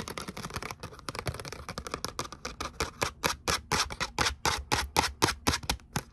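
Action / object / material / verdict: scrape / glitter cardstock letter cutout / cardstock / none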